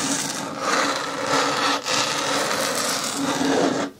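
Long nails scratch across the top and edge of a green hard plastic bin lid. The result is a continuous, bright, raspy scraping with a faint steady tone near 260 Hz, broken only by a brief pause around 1.8 seconds before fading out near the end.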